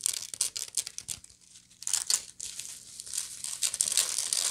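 Long nails and fingertips scratch the woven surface of a medium, hollow woven straw bag held sideways. Dry, bright, crinkly scratches come in quick bursts, pause briefly, then build into a denser, steadier rasping.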